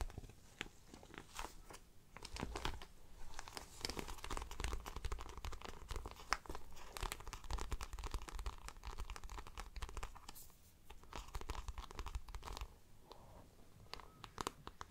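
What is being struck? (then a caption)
Shiny coated fabric handbag. Long black nails tap and scratch the glossy side of a large hollow handbag made of shiny coated floral fabric with black patent trim. Dense, rapid clicking and crinkly scraping run continuously over a low hollow rumble, with brief quieter gaps.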